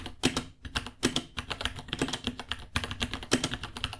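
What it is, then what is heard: Plastic mechanical keyboard typing. Fingertips of both hands type rapidly on a small white 66-key mechanical keyboard with Gateron Brown switches, white plastic keycaps, a hollow case and pink underglow, resting on a white desk. A dense, uneven stream of bright plastic clacks comes through, with a hollow low thock around 250 Hz under the louder strokes. Each tap dies away almost instantly.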